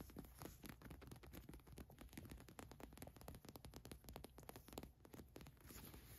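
Long nails scratch the printed name on a green cotton fleece sweatshirt, then a hand grips and rubs its ribbed cuff. The result is a quiet, dense run of short, dry scratching and crackling strokes, each stopping almost at once, over a soft low rustle.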